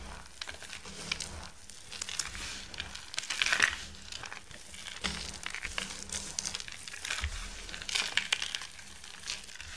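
Bare hands and fingertips squeeze and crush a loose heap of dry, crumbled, multicoloured soap shavings into a mound, then scoop them up in cupped hands. A steady, bright, crisp crinkling and crunching plays throughout, with louder, denser bursts around the middle and near the end, over a faint low hum.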